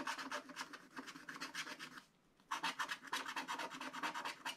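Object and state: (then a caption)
Scratch-art paper being scratched. A wooden stylus scratches hatching strokes into a black coated scratch-art paper page, drawing a barn. Quick, dry, rasping strokes repeat in a steady rhythm with a bright, papery hiss. They pause briefly near the middle, then resume just as busily.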